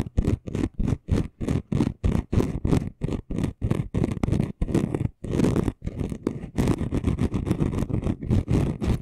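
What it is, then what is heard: Chunky glitter sheet being scratched. A flat, roughly A4-sized gold and red chunky glitter sheet lying on a dark cloth has its coarse surface scratched fast with the short nails and fingertips of both hands. The result is a rapid run of dry, gritty scratching strokes, mostly low and full-bodied, with short gaps between bursts that blur into longer, denser scraping toward the end.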